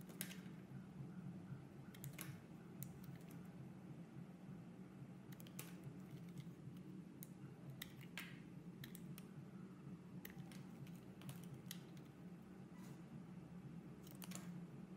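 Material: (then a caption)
Soap. A utility-knife blade scrapes thin shavings off a solid, hand-sized, oval, translucent teal soap bar held in a hand with red nails. Quiet, crisp scraping ticks and clicks come in irregular bursts over a steady low hum for the whole clip.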